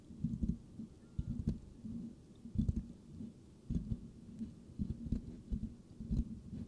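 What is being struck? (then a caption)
Metal mesh microphone grille. Palms and fingertips cup and rub the hollow silver metal mesh head of a microphone, scratching the grille slowly. The result is a series of muffled, boomy low thumps and rubbing bursts, mostly deep low-end rumble with little high content.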